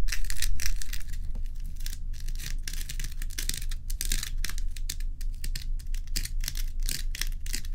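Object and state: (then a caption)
Ice block scratched and tapped. Long pointed acrylic nails scratch and tap the top of a large, solid, clear-and-frosted ice block resting on a dark towel. Quick, bright clicks and raspy scratches come in an uneven rapid stream over a steady low hum.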